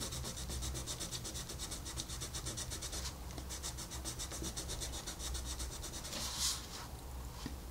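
A wooden colored pencil rubs back and forth on a flat paper coloring book page while shading, making a steady, rhythmic, bright scratching of quick strokes over a constant low hum. The strokes soften slightly midway, then a louder, brighter swipe comes near the end before the shading continues.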